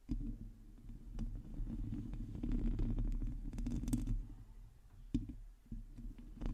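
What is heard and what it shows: Long teal nails on both hands scratch the hollow metal mesh grille of a black microphone, making a dense, low rumbling scrape. Quick clicks and faint bright ticks run through it, with a few sharper taps standing out near the end.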